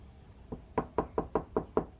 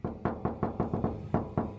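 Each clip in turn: First: solid-sounding car door with sound deadening. Second: hollow, tinny steel car door without sound deadening.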